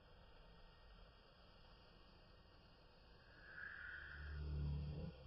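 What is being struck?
Nothing is struck.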